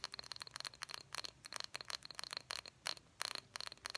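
Long fingernails tap the sides and bottom of a small, empty, hollow cobalt blue glass jar with a cork lid. The taps come in quick, bright clusters with a high ringing tone and almost no low end.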